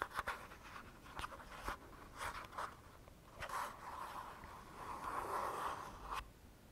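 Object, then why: Small plastic squeeze tube. Short fingernails scratch along the printed surface of a small plastic squeeze tube of Balea hand cream, hollow and likely partly filled, held in both hands. Quiet, dry scratching strokes centre around 1 kHz, with a longer, steadier scrape near the end.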